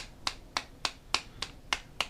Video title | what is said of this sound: Z Review - ESS 422h [WAY BETTER THAN YOU THINK] | That should not happen when I tap the top headband to hit your head.